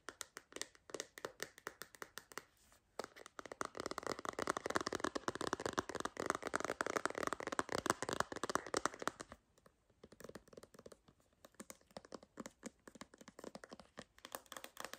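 A clear hard plastic MagSafe phone case with a purple bumper and magnetic ring, an empty shell, is tapped and scratched with long green nails. Quick, irregular clicky taps sound throughout. From about 3 to 9 seconds they give way to a denser, continuous bright scratching before the tapping resumes.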